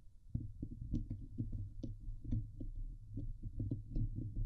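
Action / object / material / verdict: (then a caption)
scrape / steel mesh microphone grille scratched with fingernails / steel mesh / none. Long painted nails of both hands scratch rapidly across the hollow steel mesh dome grille of a Blue Yeti microphone. The result is a steady run of dull, boomy low thumps and rasps, with a hum near 100 Hz and only faint brighter scratch detail above.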